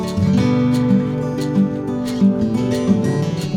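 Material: Nothing is struck.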